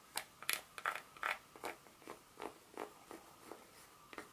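A solid segmented dark chocolate bar held in the hand has its segments tapped and scratched with long pointed nails. Short, dry clicks and scrapes repeat at an uneven pace, brighter and louder at first, then softer toward the end, with a faint steady tone underneath.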